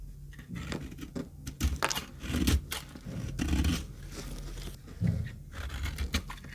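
A metal knife scrapes and cuts dry flakes off an oval, solid, very dry pink retro soap bar held in the palm. The result is a run of crisp, crunchy scrapes and short, bright cuts over a low, muffled body, with louder bursts at intervals.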